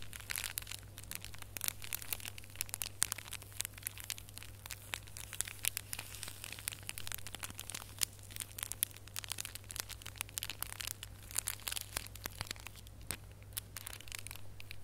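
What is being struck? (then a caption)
Small foil-wrapped gift box ornament. Fingernails scratch and squeeze the foil of a small red holographic foil gift box ornament with a gold ribbon. A dense, continuous stream of bright, sharp crinkles, crackles and scratchy clicks runs over a steady low hum throughout.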